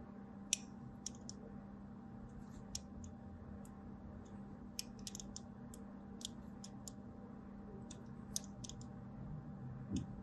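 A thin blade scores lines near the corner of a solid white DURU bar soap held upright, making a series of short, crisp, bright scratching clicks. The cuts are quiet, sharp and dry with no ring, heard over a steady low hum.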